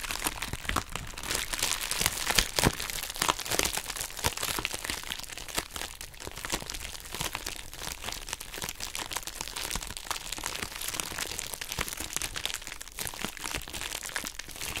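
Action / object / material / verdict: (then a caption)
scrape / plastic bubble wrap pouch / plastic / none. A pink plastic bubble wrap pouch with a heart-shaped surface is scratched and pressed with long acrylic nails. The result is a dense, steady stream of bright crinkling and crackling, with sharp clicks and pops throughout. The sound is busier and a little louder in the first few seconds.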